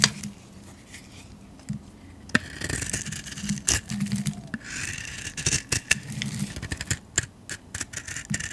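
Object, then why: Soap bar scraped with a metal blade. A metal blade scrapes curls off a solid yellow painted soap bar held in the hand. Soft, bright scraping hisses come in waves, broken by sharp dry clicks and ticks as the blade bites and releases, over a faint low hum.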